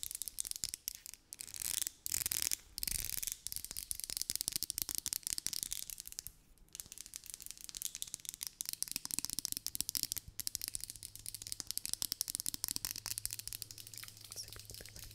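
Long nails scratch and run along the bristles and body of a pink, hand-sized, vented plastic hairbrush with plastic bristles, held close to the microphone. The result is a dense, fast stream of crisp, bright clicks and scratchy crackles with almost no ring, pausing briefly now and then. A faint low hum sits underneath.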